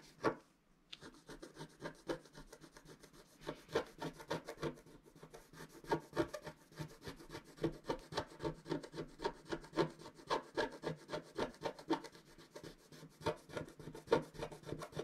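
A wooden stylus scratches repeatedly across a flat coated scratch-art sheet, producing quiet, dry, rasping strokes at a quick, uneven pace of roughly three to four per second. Each short scrape is dry and brief, mostly in the mid range with a faint bright hiss, after a brief pause near the start.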